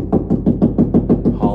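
Knuckles rap a quick, even series of knocks on drywall between the studs, each a dull, short thud centered low around 240 Hz with almost no high end and little ring. The hollow sound shows there is only sheetrock there with no stud behind it.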